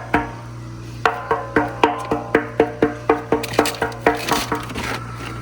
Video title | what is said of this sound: Pressure Switch, Tank, Control Box… It Was the Pump All Along! | down there it should feel filled. So, this thing is empty.